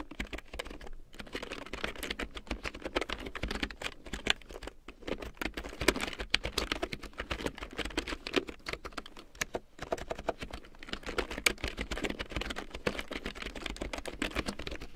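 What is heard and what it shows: A black plastic computer keyboard with large yellow plastic keycaps printed in black, lying on a fur rug, is typed on with fingertips and long painted nails. Rapid, steady streams of short, dry plastic clicks and taps fill the clip, broken only by brief pauses.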